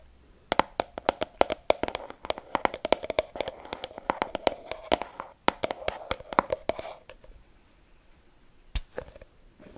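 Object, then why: Small plastic jar with lid. Long red-painted nails rapidly tap and scratch a small round white plastic Glicemille hand cream jar with a lid, held in both hands. A dense run of sharp, dry clicks over a soft scratchy rustle, with a hollow midrange tone around 570 Hz, lasts about seven seconds, then thins to a few scattered taps. Each tap stops almost instantly, with no ring.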